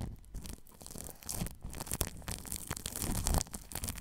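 A paintbrush brushes plastic cling film stretched over a ball microphone's metal mesh grille, making a close, continuous crinkling and rustling. Soft bristle sweeps mix with louder crackling bursts over a heavy low rumble, with bright, airy texture on top.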